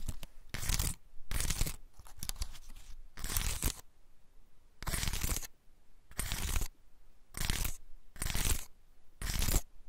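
A large, dry, woody pine cone with open scales is held in both hands while fingers scratch and rub across the scales. Repeated bursts of dry, crackling, rasping scratches reach up into bright highs, separated by quieter gaps of faint rustling.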